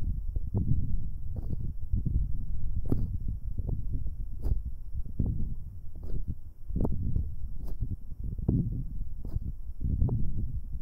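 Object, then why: Metal microphone capsules handled with rubber-covered fingers. Both metal binaural microphone capsules are rubbed and squeezed by fingers in rubber finger cots, giving a continuous deep, muffled rumble of friction and pressure. Faint sharp clicks break through now and then, while almost all the energy stays low and dull with no high end.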